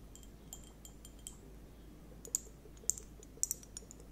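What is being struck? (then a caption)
Plastic liquid hourglass timer with beads. Long-nailed fingers grip, tilt and tap the narrow waist of a liquid hourglass timer, probably plastic, filled with purple liquid and beads. Soft, bright clicks and glassy clinks from the beads come at an irregular pace over a faint low hum. The taps grow sharper and louder in the second half.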